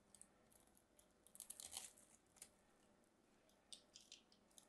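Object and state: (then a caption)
Bar soap being cut and scraped. A solid mint-green bar of soap, held in the hand, is cut into cubes and scraped with a small craft knife. Quiet, bright crisp scraping and crunching cuts come in short bursts, with the densest cluster in the middle and a few sharp, brief ticks near the end.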